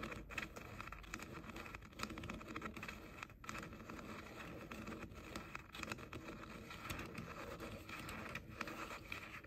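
Short nails scratch and tap the outer shells of hollow pink plastic over-ear headphone ear cups. The result is a quiet, steady stream of dry scratching and scraping, broken by brief, sharper taps and crackles across a bright, wide range.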